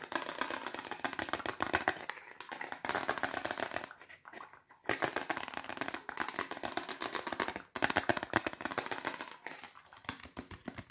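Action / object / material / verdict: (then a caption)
tap / polycarbonate compact disc / plastic / none. A single thin, solid polycarbonate compact disc with a reflective silver side is held in both hands and quickly tapped and scratched with long fingernails and fingertips. The result is a dense, bright stream of rapid plastic clicks and scraping in bursts, with short pauses around the 4–5 second mark and near 7.7 seconds, and almost no low end.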